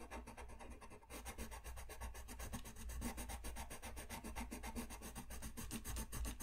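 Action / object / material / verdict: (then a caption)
scrape / paper sheet rubbed with a coloured pencil / paper / none. A brown pencil colors a thin white paper sheet lying flat on a desk in fast rubbing strokes while the other hand steadies the sheet. A quick, steady run of dry, scratchy rasps repeats about three to four times per second over a low, constant hum.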